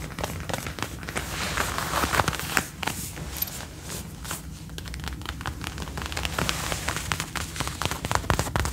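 Fingernails tap and scratch the shoulder, sleeve and front of a dark brown faux leather jacket being worn, its soft, thin material giving off quick, dry clicks over a steady scratchy rustle. The taps are sharp and short with almost no ring, set against a constant low hum, and grow a little louder and denser toward the end.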